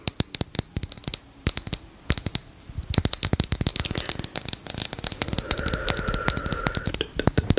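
A hand-sized, lightbulb-shaped glass jar with a metal cap, partly filled with small pebbles and fairy lights, is tapped with long nails and then shaken so the pebbles rattle. Sharp, bright clicks start out spaced apart, then crowd into a dense clinking rattle over a faint high ringing tone.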